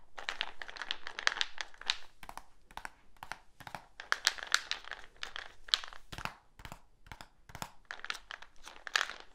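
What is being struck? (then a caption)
Plastic supplement tub. A medium black plastic supplement tub with a lid and label is held up and tapped and scratched on its sides and lid with the fingertips. Quick, dry, hollow taps mix with bright, scratchy rustling in an irregular pattern, each sound dying away almost at once.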